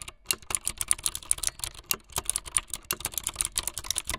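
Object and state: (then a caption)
Plastic mechanical keyboard. Long light-blue fingernails type fast on a full-size plastic mechanical keyboard with white, blue and yellow plastic keycaps and a blue backlit frame. A rapid, uneven stream of sharp, bright plastic clicks and clacks is heard, each dying out almost instantly with little low-end weight.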